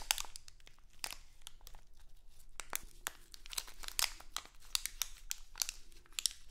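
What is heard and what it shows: A small printed, crinkly plastic Halloween candy bag is held in both hands, crinkled and scratched with long acrylic nails. Quiet, bright crackling bursts and sharp crinkles come in uneven clusters over a faint, steady low hum. Each crackle stops almost instantly, with no ring.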